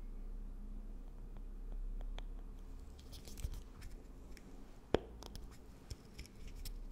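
Long acrylic nails tap and scratch across a small, hard, closed square compact case of light bamboo wood with a white lid, held in the hand, and the case is turned over at the end. Quiet, scattered dry clicks and faint scratchy rustling sit over a low, steady background rumble, with a couple of sharper, brighter taps standing out near the end.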